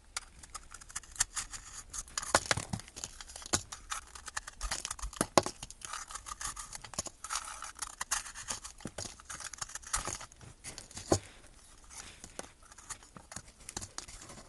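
A solid blue, powdery bath bomb ball held in the hand is scraped and crumbled with a metal blade, with chunks broken off by the fingers. Dense, dry, bright scratching and crumbling textures run throughout, punctuated by sharp crackling snaps as pieces give way.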